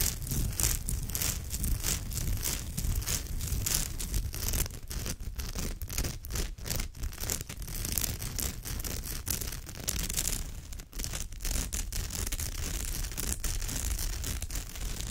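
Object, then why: Woven straw bag. Long nails scratch quickly across the woven surface of a straw or raffia purse, making a dense, continuous scratchy rustle with a bright, crackly texture. The sound stays at a steady level throughout, with a low rumble underneath and a brief dip near the end.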